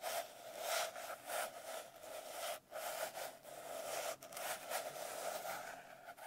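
Long nails scratch across the cover of a blue glitter-covered notebook, then tap along its page edges. The result is a steady, dry, crackly scraping with a faint tone near 650 Hz, broken by a few brief drops in level.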